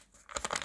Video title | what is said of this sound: Подделка? варианты 5000 тенге серия ВВ,на что обратить внимание при осмотре купюр РК рекомендации | Действительно, хруст чувствуется, потому что купюра сравнительно в хорошем состоянии.